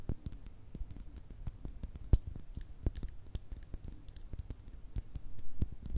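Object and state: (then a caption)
Glass bottle tapped with fingernails. Long red nails tap quickly on a small, hollow, clear glass bottle with a thick base that is partly filled. The result is a quiet, steady patter of short, dull taps, with a few brighter clicks and louder hits near the end. Each tap dies almost instantly, with almost no ring.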